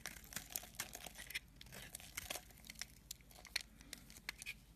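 A metal blade scrapes a solid white soap bar, breaking off dry, crumbly chunks. The scraping gives a quiet, bright, dry crackle made of rapid short scratches and crisp crunchy ticks with little low end.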